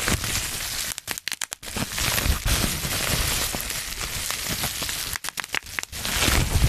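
Crumpled clear plastic bubble wrap, held in one or both hands close to the mic, is squeezed so the fingers pop the bubbles and crinkle the sheet. Dense, bright crinkling and crackling runs almost continuously, broken twice by short, quieter stretches where sharp individual pops stand out. The result is a steady, irregular stream of crackles and snaps with a low rumble of handling underneath.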